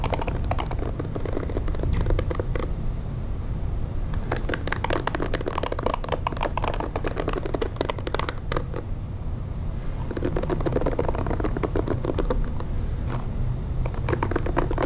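A pink plastic detangling hair brush with many short plastic bristles and a hollow-backed paddle is held while long nails tap and scratch across it. Dense bursts of quick, crisp plastic clicks and scratchy ticks come in three stretches with brief quieter gaps between them, over a steady low hum.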